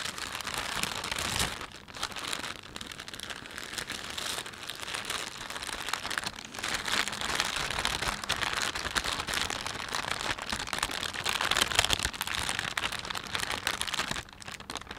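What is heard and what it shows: A thin, empty plastic panda shopping bag is rubbed and crumpled by fingers, giving a steady, bright crinkling of the film. The dense crackle runs continuously for the whole clip with brief softer dips, mostly high and airy with little low end.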